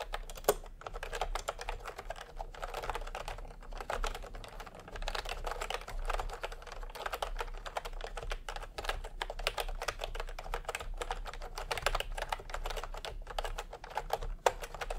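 A full-size plastic retro keyboard with round cream, peach and pink typewriter-style keycaps on a cream plastic frame, resting on a white cloth, is typed on continuously by both hands using fingertips. A steady stream of quick, dry plastic key clacks with very short decay and a mid-range tone fills the clip, with occasional slightly louder strikes.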